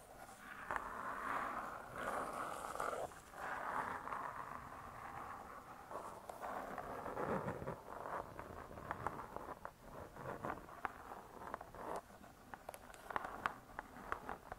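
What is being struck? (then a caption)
Laminated cardboard book cover. Long nails scratch and tap the laminated cardboard cover of a solid spiral-bound hardcover "Vegetarian Cookery" cookbook. The clip opens with soft, rasping scratches centered in the midrange, then shifts to a run of quick, dry, clicky taps in the second half.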